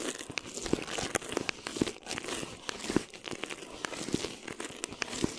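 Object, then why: Plastic film over a microphone head. A flat hand rubs and crinkles clear plastic film stretched over a mesh microphone head, with the fingertips and long nails brushing across it. The result is a steady, dry crackling hiss with bright, high sparkle and small sharp snaps scattered throughout. Low-mid taps thump in between, and nothing rings out.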